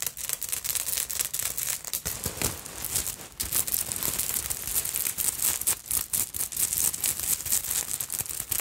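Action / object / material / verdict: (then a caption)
scrape / beaded fabric purse with bead fringe / glass beads / none. Long nails scratch and brush through the long bead fringe and beaded front of a black beaded fabric purse. The result is a dense stream of bright, rattling, crackly clicks and scrapes that is mostly high in pitch and has very little low end.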